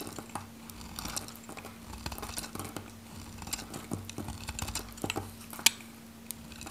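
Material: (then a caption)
Soap. A metal knife slices cubes and chips off the edge of a handheld, solid, pink varnished dry Godrej No.1 soap bar. Quiet, bright, crisp crunches and short scraping clicks repeat irregularly, with one sharper snap near the end. A faint steady low hum runs underneath.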